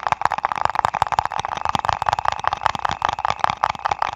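A small printed paper ice cream cup, apparently with a lid, is held in the hands over a foam-covered mic and tapped and scratched with fingertips and nails. The result is a dense, irregular stream of quick, dry taps and papery scratches, centered in the midrange around 860 Hz. Each tap stops with no ring.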